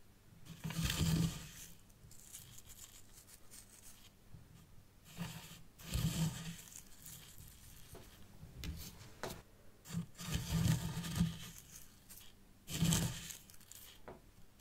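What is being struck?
Fine white sand in a small tray.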